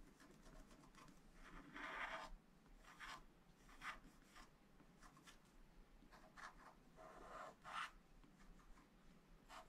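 A wooden stylus rubs and scratches the black wax-coated surface of scratch art paper in a flat spiral pad, working on the building on the right side of the sheet. Six dry, raspy scraping strokes stand out over a faint, steady hiss, the loudest near the start and toward the end. Each stroke is a bright, papery scratch centered in the upper mids that stops quickly with little ring.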